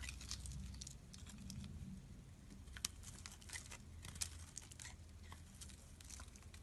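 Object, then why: Soap bar. A solid bright pink soap bar held in hand has chunks cut off its edge with a utility knife blade. Soft, dry crunching and crisp scraping snaps sound at an irregular pace over a low, steady hum, with a few sharper bright cracks standing out.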